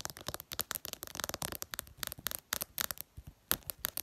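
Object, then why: Glass smartphone screen. Long purple nails tap fast on the flat glass screen of a smartphone. The result is a rapid, uneven stream of sharp, bright clicks, each dying away almost at once, with very little low end.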